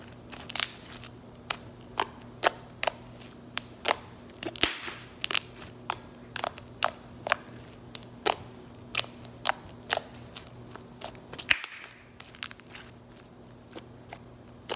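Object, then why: Soft slime pressed by fingertips. Fingertips poke, pinch and fold soft lavender slime on a granite countertop, squeezing out trapped air. A steady string of short, sharp, bright pops and crackles sounds over a faint, constant low hum, each pop cutting off almost instantly.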